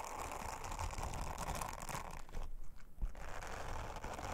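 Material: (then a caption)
Silicone. An orange silicone bristle scrubber is rubbed over a flat, thin, round blue silicone honeycomb trivet by long-nailed fingers. The result is a steady, dense, crackly brushing and scratching texture, heavy in the low end. It briefly thins out and quiets just past the middle, then resumes.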